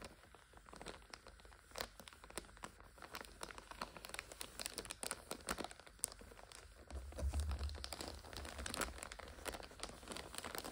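Long nail tips tap and scratch the plastic wrapper of a full multipack of instant noodles lying on its side. The result is a steady, quiet stream of crinkles, crackles and quick ticks with a high hiss. A low rumble swells near the seven-second mark.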